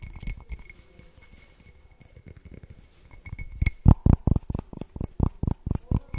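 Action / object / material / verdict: tap / glass object / glass / none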